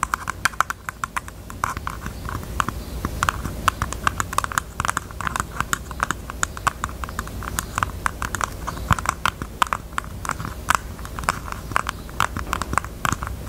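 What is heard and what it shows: A pink jewelry box is tapped with the fingers in a fast, steady stream of short, dry taps. Each tap is clicky and centered around 1 kHz, with almost no ring after it.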